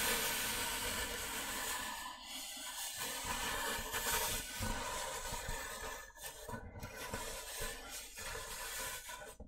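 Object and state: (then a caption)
Styrofoam box. Fingernails of both hands scratch and rub across the top surface of a large, white, hollow styrofoam box. The result is a continuous, bright, hissing rasp with fast, irregular scraping strokes. It runs steadily throughout, with slight dips in level.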